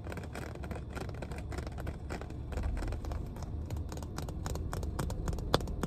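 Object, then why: Plastic water bottle. Long painted nails tap rapidly on the body and cap of a full, clear plastic water bottle, making a stream of light, crisp clicks with bright high edges. A steady low rumble runs underneath, with one sharper tap standing out near the end.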